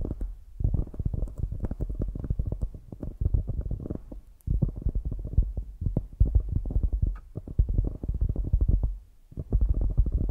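Long grey nails rapidly tap and scratch the top and sides of a palm-sized solid polyurethane foam squishy donut with an orange top. The result is dense bursts of soft, muffled, low thumping with a dull rumbling texture and almost no brightness. Brief pauses break the bursts near the start, the middle and toward the end.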